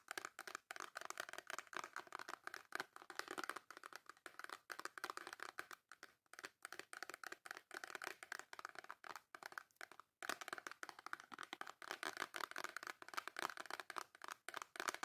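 Long nails tap and scratch quickly across the front of a small white cardboard Dove soap box with a bar of soap inside. The result is a dense stream of dry, crisp clicks and crinkly scraping, centered in the mid range with bright edges. It breaks briefly near the ten-second mark, then continues at the same fast pace.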